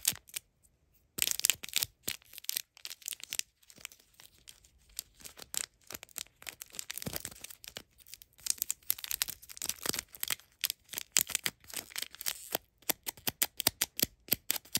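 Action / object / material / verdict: tap / miniature cardboard box / cardboard / none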